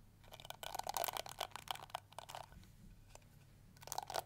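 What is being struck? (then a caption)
Plastic hair brush bristles. Long nails and fingertips rake and flick across the yellow plastic bristles of a small round pink plastic detangling hair brush. The result is dense bursts of bright, crackly plastic clicks and scratches, busiest through the first half, easing into quieter ticks, then flaring again near the end.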